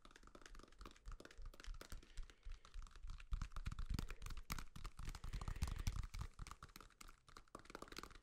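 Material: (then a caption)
Banana peel. A whole, solid yellow banana with the peel on is held upright and tapped with fingertips and nails. The result is a quick, irregular patter of soft, dull, low thuds, about four per second, mixed with brief bright clicks from the nails. Each tap dies away almost instantly.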